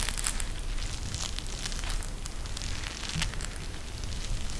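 A pink eye mask with fabric trim and a clear plastic shell filled with gel beads is held in both hands and squeezed by the fingers. The result is a steady, dense crackling of bright, crisp plastic crinkles and bead clicks over a low, constant rumble, with no clear pauses.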